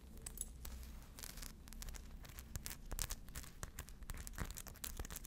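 Long blue acrylic nails scratch across a small, hollow, crescent-shaped fabric handbag covered in tiny rhinestones, with a strap and metal clasp, held in one hand. The result is a quiet, steady stream of rapid, bright scratchy clicks and crackles over a low background hum.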